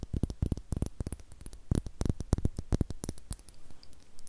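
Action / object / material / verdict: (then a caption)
tap / small star-shaped glass bottle with cork stopper / glass / none. A small, hollow, clear glass star-shaped bottle with a cork stopper, apparently empty, is held and tapped with long nails over a microphone. Rapid, soft, dull taps and clicks come in irregular bursts, each dying away almost at once, with the energy mostly low and thumpy. A faint low hum and light static sit underneath.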